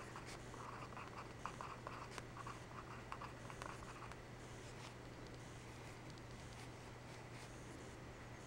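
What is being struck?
Graphite pencil on paper notebook pages.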